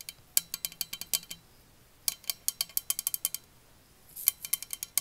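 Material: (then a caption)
Coated metal. Long nails tap a large, hollow, white-coated insulated metal water bottle with a black lid, held upright. About 27 quick, bright clicking taps come in three rapid bursts separated by short pauses. Each tap is sharp and high with almost no low end, and dies away instantly with a faint metallic clink.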